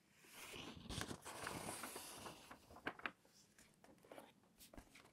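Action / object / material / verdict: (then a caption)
scrape / glossy paper magazine pages / glossy paper / none. A hand crinkles and turns a page of an open glossy-paper food magazine, then rubs the flat palm and fingertips across the glossy spread. Bright, crackling paper rustle swells over the first couple of seconds, with sharp crisp crackles near the start and again around the three-second mark. It then settles into quieter, softer sliding rubs.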